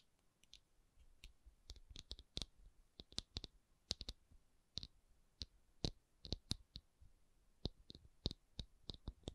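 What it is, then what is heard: Rubber object. A rubber object is tapped in a quick, irregular series of about 27 short, dry clicks that die away almost instantly. Each tap has a bright, high snap over a soft low thump, with quiet pauses between bursts.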